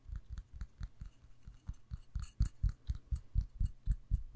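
Fingernails tap on the cream-colored wax surface and the glass side of a red glass jar filled with wax. About eighteen quick, dull, low thumps come at roughly two per second in a loose rhythm. Each has a faint bright click on top and dies away almost at once.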